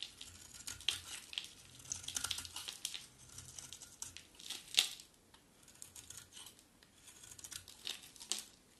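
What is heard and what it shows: A utility knife blade held in the hand carves a solid mint green dry soap bar, scraping off curls. Quiet, dry, crisp scraping and crinkling strokes come in uneven bursts, almost entirely bright high-frequency hiss with a few sharper snaps and almost no low end.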